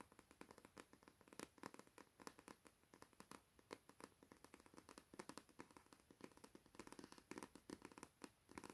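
Fingers tap and scratch quickly over paper books in a steady, uneven stream of light, dry clicks. Each tap is short and crisp with almost no ring, with energy in the midrange and bright tops.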